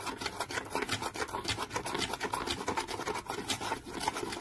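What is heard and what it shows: Fingernails scratch quickly and repeatedly across the flat printed lid of a small decorated cardboard box held in the hand. The result is a dense, dry rasping of short bright strokes with little low end and a faint steady tone near 860 Hz.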